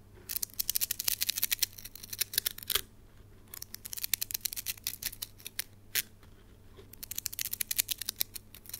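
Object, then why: Plastic coil spring toy. A palm-sized red plastic slinky spring toy is shaken and flipped between the hands, its coils clacking together in rapid bursts of sharp, bright clicks. The clattering comes in three runs, separated by brief pauses, over a faint low hum.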